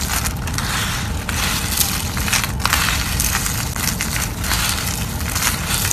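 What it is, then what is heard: Dry soap crushed. Fingers snap thin slices of dried yellow soap and crush the flakes on a wooden surface. A dense, continuous crunching and crackling runs throughout at a steady level, bright and papery on top with a rumbling low body beneath.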